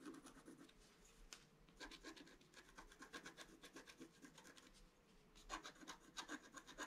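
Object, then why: Scratch-art paper sheet scratched with a pointed wooden stick. A pointed wooden stick scratches across a flat scratch-art page, black coating over colored paper. Quiet, dry, papery strokes come in rapid bursts of bright rasping, with brief lulls before the scratching picks up again.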